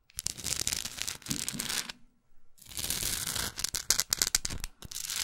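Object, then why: Small wooden block with rough painted edges. Long acrylic nails tap and scratch the rough, gold-textured painted edges of a small solid wooden art block plaque with a maker's label on the back. The sound is a dry, bright, tearing-like rasp with quick clicks, stopping briefly near the middle before resuming with sharper taps amid the scratching.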